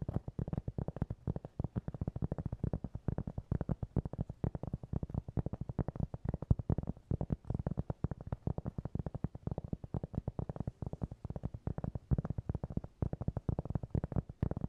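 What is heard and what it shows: A round, flat, solid cork trivet about 20 cm across is held in both hands close to the microphone and tapped and scratched quickly with fingertips and nails. The result is a steady, rapid stream of quiet, dull, low-pitched thuds, each dying away almost instantly with no ring.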